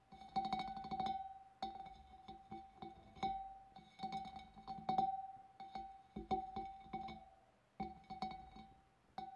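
Long dark nails tap and flick the wavy rim of a large, clear, empty glass fish bowl in quick clustered bursts. Each tap gives a short, bright glassy click over a steady ringing tone near 780 Hz that fades quickly between bursts.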